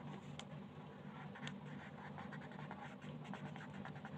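A wooden colored pencil tip scratches across a thin printed paper coloring page lying flat on a plastic-covered table as the page is colored. Soft, continuous scratchy strokes with brief brighter ticks sit over a steady low hum.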